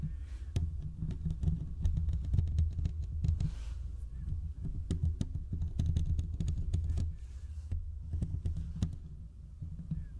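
Fingertips scratch both sides of the hollow metal mesh grille of a large condenser microphone, producing a dense, boomy rumble centered low around 86 Hz. Sharp little clicks and ticks pop through the rumble without stopping. The texture stays thick and close across the whole clip, dipping briefly before resuming.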